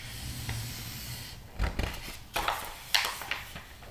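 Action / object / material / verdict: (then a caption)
scrape / glossy paper magazine / glossy paper / none. Fingertips rub and turn the pages of a thick glossy interior-design magazine lying open on a rug. A soft, steady papery hiss gives way to five sharp, crackly swishes, each bright and quickly fading.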